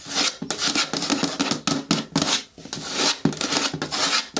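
Long nails scratch the lower sides of a hollow, medium-hard green plastic bin with a lid. A series of short, bright rasping strokes rises and falls in quick bursts, each with a faint hollow tone from the plastic beneath.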